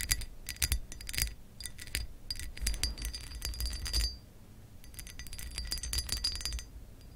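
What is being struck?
Textured glass lamp base.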